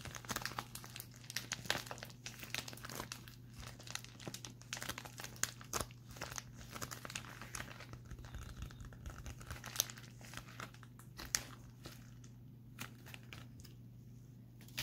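A pink metallic foil bubble mailer is held upright in both hands and squeezed and crinkled with the fingers. Dense, bright crinkling and sharp crackles run throughout over a steady low hum, thinning out and growing quieter in the last few seconds.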